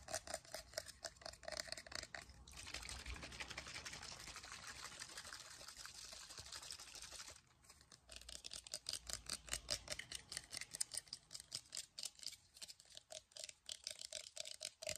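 Fingertips and nails tap rapidly on a small black plastic Lush "Breath of Fresh Air" toner spray bottle with a label, held close in both hands and containing liquid. The quick, bright clicking gives way to a steady, hissing wash of sound for about five seconds. Then the fast, dense tapping resumes until the end.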